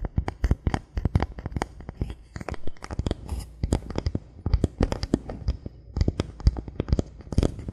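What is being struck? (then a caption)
Thin bamboo board. Fingernails rapidly tap and scratch a thin solid bamboo board, then fingertips tap it, making a dense stream of short, dry clicks over a soft scratchy rustle. Each tap has a dull, low body, a brief bright edge and almost no ring.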